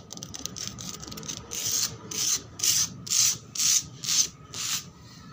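Long black nails scratch and rub a flat, solid concrete floor with peeling red paint, wet with bubbles. Quick, light scratching gives way to seven louder, bright, hissing strokes at a steady pace, each rasping stroke cutting off cleanly with almost no low end.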